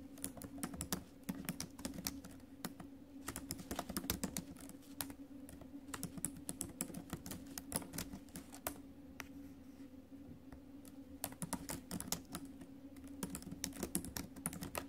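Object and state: Laptop keyboard with plastic keys.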